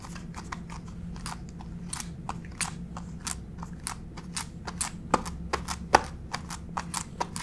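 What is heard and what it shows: Long pink acrylic fake nails on both hands tap and scratch a flat gray wood-grain laminate plank floor. Quick, sharp, dry clicks come in an uneven, fast patter, with a few louder taps near the end over a steady low hum. Each tap is bright and stops almost instantly, with no ring.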